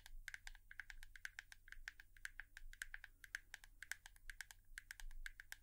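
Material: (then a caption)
Plastic. A hairbrush is tapped rapidly with long nails, producing a quick, irregular stream of sharp, dry clicks with a pitched ring around 1.6 kHz and bright edges. Each tap dies away almost instantly over a faint, steady low hum, with no voice heard.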